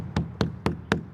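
Four knocks on a 25-ft fiberglass replica statue of Ramesses II that looks like concrete or stone. Each knock is a short, low, hollow thud with little ring. The hollow sound shows the statue is fiberglass, not solid stone.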